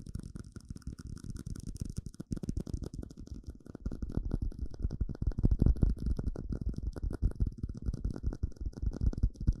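Fingertips and nails tap rapidly on a small, hollow, empty clear plastic cup, making a dense, irregular stream of short, dull, low-heavy clicks and thuds. The tapping grows louder and busier after about four seconds, with each tap dying away almost at once.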